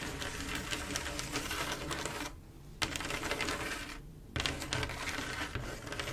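Long black-and-pink acrylic nails tap quickly across a large, solid flat glass mosaic tile picture covered in small silver mirror-like tiles laid in swirl patterns with grout lines. A dense, bright clicking rattle runs throughout, dropping to two brief quieter pauses before the rapid tapping resumes.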